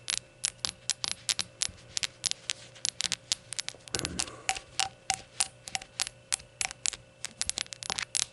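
Rainbow-colored shot glasses are tapped and fidgeted with, producing a rapid, irregular run of bright, clinking, coin-like clicks that stop almost instantly. A faint steady hum sits underneath, with a brief duller rustle midway through, and nothing is spoken.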